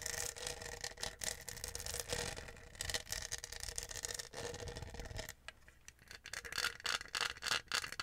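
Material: Plastic.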